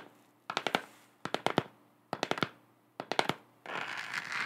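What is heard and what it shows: Long acrylic nails tap rapidly on a lit, hollow, textured plastic moon globe lamp in four quick bursts of sharp, bright clicks, then scratch across its surface in a continuous, hissy rasp to the end.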